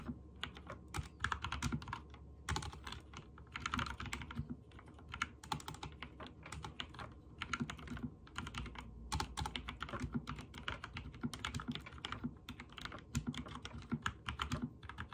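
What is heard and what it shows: Fingertips type rapid key presses on a backlit mechanical keyboard with white and teal plastic keycaps. The result is a steady stream of quick, short clacks with bright ticking edges over a low, hollow thud beneath. The clatter runs in bursts of faster typing with brief pauses between them.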